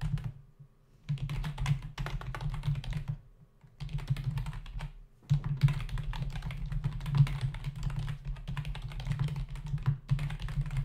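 Fingertips of both hands type rapidly on a full-size black plastic membrane keyboard with hollow keys resting on a dark desk. The result is bursts of quick, hollow, low-pitched clacking taps, broken by short pauses near the start and around the fourth and fifth seconds.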